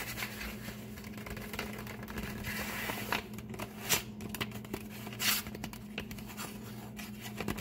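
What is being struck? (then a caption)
Kraft paper bag. A flat, empty brown kraft paper bag lying on a table is rubbed and scratched with the fingertips and nails of both hands. Soft, continuous crinkly rubbing is broken by bright, papery scratches and a few louder swipes, over a faint steady low hum.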